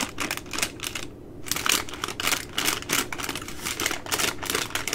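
Long nails tap and scratch the crinkly plastic film at the end of a full, plastic-wrapped three-pack of baby wipes. The result is a dense run of bright, crisp crackling taps with short rustles between them, pausing briefly near the one-second mark before continuing steadily.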